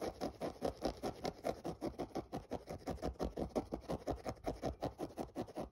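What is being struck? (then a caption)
Synthetic mesh running shoe. Fingernails scratch the mesh toe and lace area of a hollow, empty grey synthetic mesh running shoe. A steady run of quick, rasping strokes repeats in a rhythmic pattern, each a short dry scrape centred in the low-mid range with little bright content and almost no ring.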